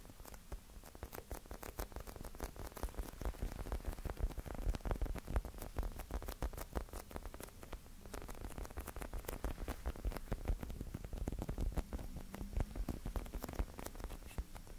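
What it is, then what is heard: Plastic drink bottle. A white plastic Prime drink bottle with black lettering is held in both hands close to the recorder and tapped and scratched with fingertips and nails. Quick, irregular dull taps and scratchy clicks patter continuously, each dying away almost instantly. The sound carries a heavy low thump under brief bright ticks.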